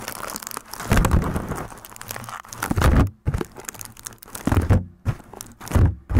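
A sheet of aluminium foil is crumpled over the top of a microphone, then held near it and crinkled and rubbed with fingertips. Dense, crackling crinkles come in uneven bursts with heavy low thumps and rumble from the close handling, separated by brief quiet pauses.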